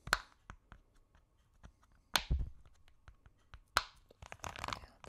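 A purple, octagonal, hand-sized silicone push-pop fidget toy with hollow bubbles is held in both hands and tapped and scratched with long acrylic nails. Three sharp, bright clicks stand out among quieter ticks and soft crackles, each decaying almost instantly with a faint tone near 1.35 kHz. A dense flurry of scratchy, crunchy taps follows near the end.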